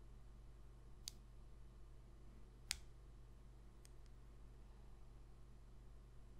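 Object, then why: Coated cardboard trading card. A long pink fingernail taps and scratches the face of a small, thin, glossy coated-cardboard football trading card held in one hand. Two sharp, bright clicks stand out, with a couple of fainter ticks after them, over a quiet, steady low hum. The clicks stop almost instantly, with no ring.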